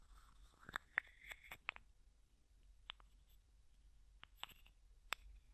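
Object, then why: Small plastic jar with plastic screw lid. Fingertips and nails tap, scratch and twist the white plastic screw lid of a small, hollow, clear plastic cosmetic jar with a few small items inside. Sharp, dry, bright clicks and taps with no ring are scattered through a quiet stretch, mixed with a faint scratchy rustle early on.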